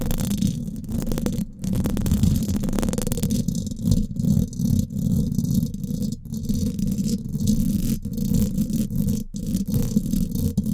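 Long acrylic nails scratch and tap the hollow domed steel mesh grille of a Blue Yeti microphone. The result is a dense, close, low rumbling scrape with rapid rattling taps, heavy in the bass, with almost no high end and only brief dips between strokes.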